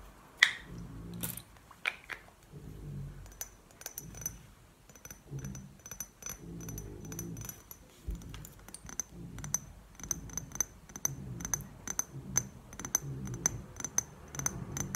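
Long painted nails tap a rectangular clear glass perfume bottle with a gold cap, partly filled with liquid and held in the hands. Quick, bright clicking taps with a short high glassy ring come in uneven bursts throughout. A soft, low rustle of handling sits underneath.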